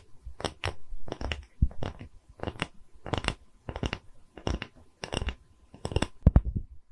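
A round, thin wooden tree-slice coaster with a bark rim is held in one hand while the fingernails of the other hand scratch and tap its cut face. Short, dry scratching bursts and crisp taps come in clusters with brief pauses, mostly low and dull in body with a faint bright edge.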